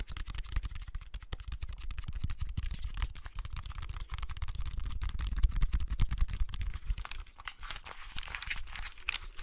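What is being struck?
Plastic handheld game console casing.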